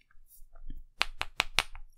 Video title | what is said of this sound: Sofirn SP33S 26650 Extreme High Output Flashlight Review | you can hear that it bounces a little bit in there